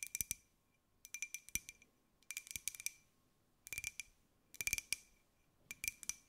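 Long nails tap on the outer wall of a small white ceramic mug with a pineapple print as it is held and turned in the hands. The result is bursts of quick, bright clicking taps with a faint ringing tone around 2.4 kHz that dies away almost at once, separated by quiet pauses.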